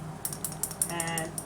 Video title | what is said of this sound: Making a Saltwater Popper, A popper lure with a rattle. | the rattle is in there even through all this wood you can hear it